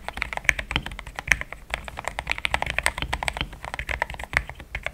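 Fingertips of both hands type steadily on a compact pink-and-cream plastic mechanical keyboard with thick XDA-profile keycaps, Gateron Yellow switches and a polycarbonate plate, sitting on a desk mat. A rapid, uneven run of short, dry, bright clacks comes through with a soft low thump under each press and no ring between strokes.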